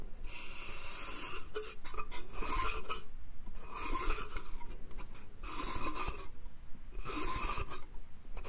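Fingernails scratch and rub across a small, hollow, empty pine slatted bath crate, producing bursts of dry, bright rasping. The scratching comes in repeated passes over a steady low rumble.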